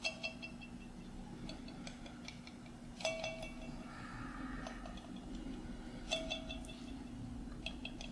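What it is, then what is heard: Glass jar with metal lid. Fingernails tap and scratch the metal screw lid of a small glass mason jar with contents inside. Sharp, bright clicks ring briefly around a 650 Hz tone, with softer scratchy stretches in between. A steady low hum runs underneath throughout.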